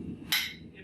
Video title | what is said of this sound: Let's Craft! Blacksmithing - Iron Pole Hook | here's the difference in noise. Not bad, right? Also notice, it bounces back. You need that. That means the carbon's hard.